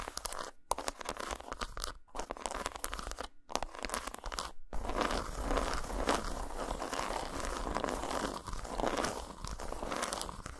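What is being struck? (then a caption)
Dark chocolate bar. Long nails tap and scratch a solid, segmented dark chocolate bar lying flat on a towel. Dense, dry crunchy scratching and quick clicking taps are broken by a few brief silences in the first half. The sound then settles into a steady, continuous scraping texture.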